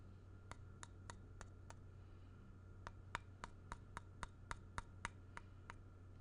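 A square, solid, grey-painted wooden block is held in hand while its flat surface is traced and scratched with a thin black pen or stylus tip. Sixteen short, dry, bright clicks sound over a steady low hum: five come evenly spaced, then after a brief pause eleven more follow in a slightly quicker run.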